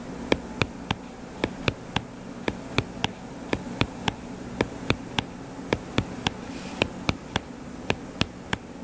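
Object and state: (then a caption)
Hardcover paper book. Short fingernails scratch and tap the cover of a closed, solid hardcover paper book lying flat, giving about 24 crisp, bright clicks spaced through the clip. Each click is sharp and dies away almost instantly, over a faint, steady low hum.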